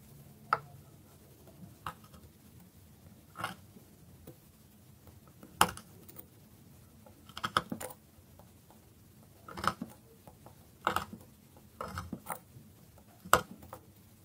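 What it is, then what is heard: Dry bar soap being cut. A metal knife cuts and shaves the surface of a solid bar of dry soap resting on a wooden board. Short, crisp cracking and scraping strokes come at irregular intervals, some as single snaps and some in quick clusters, with a bright crunchy edge. Between strokes there is only a low, quiet background.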